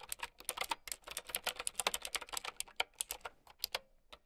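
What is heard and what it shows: Long nails and fingertips type rapidly on a mint-green, typewriter-style mechanical keyboard with round plastic keycaps. About two dozen quick, bright, clicky keystrokes sound in an uneven rhythm, each dying away almost instantly with very little low end.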